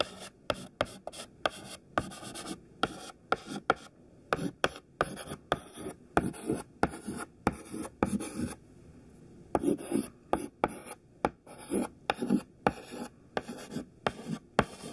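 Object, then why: Chalk stick on a chalkboard. A thin white stick of classroom chalk, held in the fingertips, writes text on a black chalkboard. About 28 quick taps and short scratching strokes sound sharp and dry, with brief gritty rasps between them and almost no ring after each hit.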